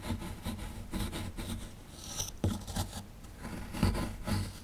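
A small dark chisel tool lightly scrapes the surface of a small, solid plaster fossil excavation block. Irregular dry rasping strokes repeat throughout, with a soft low body, a faint bright hiss on each scrape, and a few sharper ticks where the tool catches.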